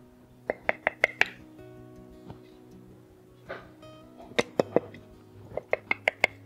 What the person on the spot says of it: నేను ఇట్లా కొడితే మనకు అర్థమైపోతుంది, చెక్ చేయలేదు. ఈ సౌండ్ తేడా ఉంటుంది.